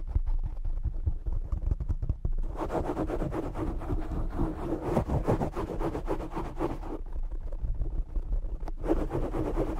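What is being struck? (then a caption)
Foam microphone windscreen. Short nails of both hands quickly scratch the black foam windscreen covering a desktop microphone. The result is a dense, rumbling, bassy crackle, with louder rasping bursts that reach higher from about 2.5 to 7 seconds and again near the end.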